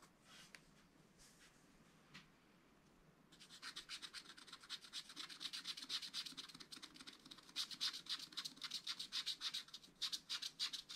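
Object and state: Scratch-art paper being scratched with a stylus.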